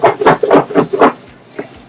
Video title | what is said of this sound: SC BakingBreadVideo | if it doesn't rattle there may be an indication that the dough is handled improperly